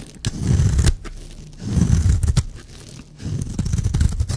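A blade scrapes and shaves a solid, dry green and white striped bar of soap in three separate passes. Each pass is a low, gritty, crunchy scraping that rises and falls, with short bright clicks scattered through it. Quiet pauses come between the strokes.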